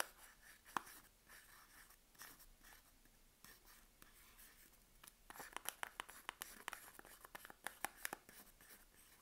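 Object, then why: Bar of soap in a paper wrapper. Long acrylic nails scratch and tap the wrapped face of a solid Palmolive bar soap, about 90 g, still sealed in its paper wrapper and held in one hand. Quiet, dry papery scratching fills the first half. It gives way to a quicker run of crisp, bright taps and clicks that stop short with almost no ring.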